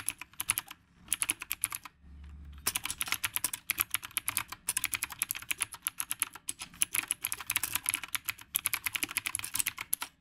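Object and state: Typewriter-style mechanical keyboard.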